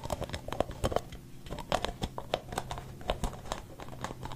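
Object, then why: Aerosol can with plastic cap. Fingertips tap and scratch the white plastic cap of a capped blue and white aerosol spray can held close to the mic. The result is a quick, irregular run of short, dry plastic clicks with a hollow mid tone near 600 Hz, mixed with soft crinkly scratching over a low background rumble.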